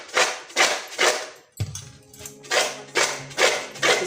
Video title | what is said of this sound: Shakkar para recipe in Hindi - एकदम बाजार जैसे खस्ता और सॉफ्ट शक्करपारे - Diwali Special Recipes | the sound of how crispy it is, it turns out to be very crunchy